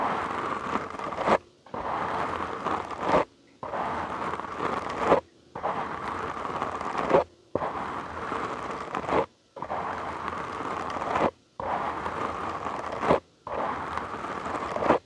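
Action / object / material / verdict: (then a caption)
scrape / foam microphone windscreen / foam / none. A black, soft, porous foam windscreen covering a large microphone lying on a wooden table is scratched all over with the short nails and fingertips of both hands. The result is eight steady bursts of dense, crackly scratching with a rustling texture, strongest in the mids and reaching bright highs, each separated by a brief silence.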